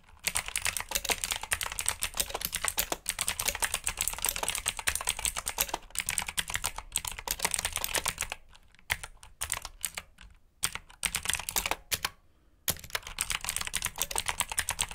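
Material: Plastic.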